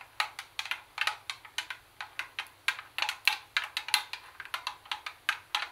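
Long acrylic nails tap the plastic top panel of a hollow Sony CD cassette boombox and the edge just above its metal speaker grille. About 25 quick, bright, hollow clicks come in an uneven rhythm, each dying away almost at once, with no low-end body.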